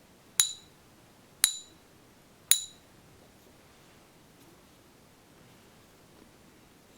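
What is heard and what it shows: A fake, non-magnetic Silver Eagle coin, underweight at 24.96 g and not silver, is struck toward the center with a coin pinger stick three times. Each tap gives a short, bright, high-pitched ping that fades quickly. It scores zero out of three and is judged bad.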